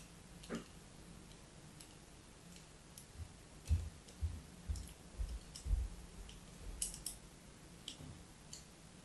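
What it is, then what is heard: Bar of soap being scraped. A solid rectangular white bar of soap with an embossed logo, held in one hand, is scored and scratched with a thin metal blade or needle held by a long-nailed hand, while a plastic slinky rests against the holding hand without being struck. Twelve quiet, irregular scraping clicks sound over a low background hiss, each with soft low thuds and faint bright ticks that stop almost at once.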